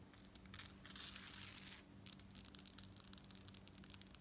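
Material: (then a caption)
Metal. Long nails scratch and tap the gold-tone metal beads of a long worn lariat necklace on a dark cord with fringe at the bottom. A dense, bright scratching rustle swells through the first half, then gives way to quick, crisp clicking taps on the beads.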